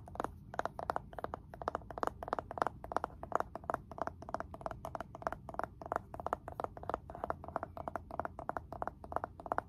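Fingertips tap rapidly on the wooden lid of a blue glazed ceramic candle jar filled with wax, then on the jar's ceramic bottom. The taps are quick, dry and quiet, with a mid-pitched knock that stops almost at once.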